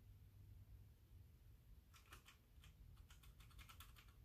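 Fingertips with painted nails type with both hands on a full-size backlit mechanical keyboard with white plastic keycaps. A quiet low hum fills the first two seconds, then a run of crisp, bright keystroke clicks follows, growing denser toward the end.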